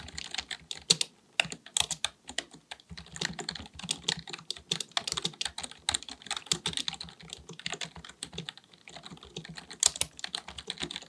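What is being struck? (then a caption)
Plastic computer keyboard. Both hands type continuously with the fingertips on a black, full-size, hollow-bodied plastic keyboard resting on a desk, likely a mechanical one. Rapid, bright key taps click in quick, uneven bursts with a few louder strikes, and each tap dies away almost instantly with little low end.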